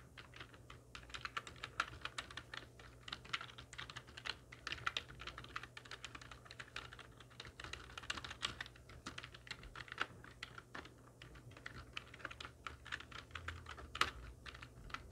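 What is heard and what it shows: A full-size black plastic computer keyboard with hollow keys, resting on a wooden desk, is typed on rapidly with the long nails and fingertips of both hands. The result is a dense, steady stream of short, bright clicks and taps that die away almost instantly, with a few louder keystrokes standing out from the patter.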